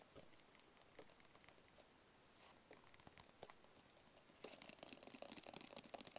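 Fingertips and nails tap and scratch a small, hollow, white rigid paperboard phone box. The result is quiet, dry, crisp clicks with bright scratchy hiss and almost no low end. After about four seconds the scratching becomes denser and louder.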